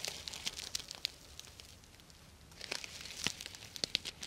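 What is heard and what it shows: Long nails scratch and rub down the plastic sequins of a purple sequin-covered fabric pouch held upright beside the microphone. The result is bright, crinkly clicks and scratchy bursts, which fade to a quieter rustle in the middle before picking up again.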